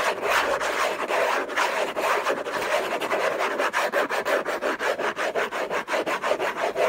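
Fingernails on clawed fingers scratch hard and fast across the hollow lid of an orange Hermès cardboard gift box. The result is a dry, rasping scrape with a mid-range resonance around 630 Hz. The strokes run together at first, then separate into rapid, uneven passes of roughly two per second.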